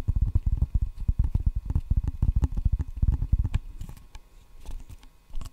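Fingertips rapidly drum the solid red rubber face of a wooden table tennis paddle held facing the mic. The result is a fast, uneven run of dull, deep thuds with almost no ring, loud for the first three and a half seconds. The taps then trail off into softer, sparser taps, with one last firmer tap near the end.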